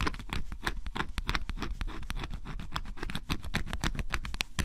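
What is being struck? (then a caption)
Cardboard puzzle piece with scratch-off coating, metal scraper. A flat metal scraper scratches the black coating off a flat cardboard piece of a scratch-off jigsaw puzzle, leaving flakes behind. The close-up sound is a rapid series of short, crisp, dry scraping strokes with bright edges over a low rumble. Each stroke stops abruptly without ringing.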